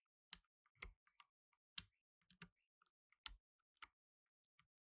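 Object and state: Plastic mechanical keyboard keys pressed.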